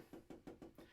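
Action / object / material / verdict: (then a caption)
tap / plastic storage tray with a padded bottom / padded plastic / padded. Tools are tapped five times in the padded plastic storage compartment of a Cricut Maker, giving soft, muffled thuds around 330 Hz that die away almost at once. The padding in the bottom keeps the taps quiet, without the sharper tapping heard in the Cricut Explore Air 2.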